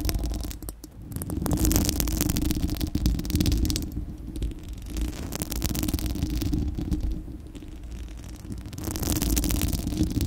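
Long acrylic nails on both hands scratch a bare, hollow, fist-sized spherical steel wire-mesh microphone grille. The result is a dense, rumbling scratch dominated by low boomy noise, with brighter crackly bursts that swell and fade in waves throughout.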